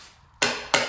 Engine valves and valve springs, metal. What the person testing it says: when I tap on these valves you can hear the spring you can you can hear them that they're moving